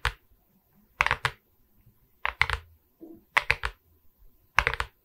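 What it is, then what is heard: Resin-bead diamond painting on a wooden board. Long red nails tap and scratch across the resin beads of a diamond painting on a wooden canvas board. Sharp, bright clicky taps come in quick bursts of two or three, each dying away almost instantly, with faint scratching in the quiet gaps.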